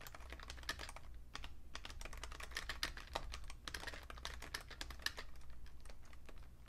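A vintage beige plastic full-size Fujitsu Siemens computer keyboard with a hollow case is typed on with the fingertips. It gives a quick, continuous run of sharp, bright plastic taps with a clicky ring near 1.8 kHz. Each tap dies almost instantly over a steady low hum.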